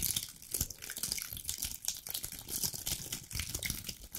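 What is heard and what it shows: Long black nails scratch and rub along the woody scales of a dry brown pine cone, or a cluster of them, about hand-sized. The result is a steady, bright, crackly scraping with many quick ticks and rasps that overlap without a clear break.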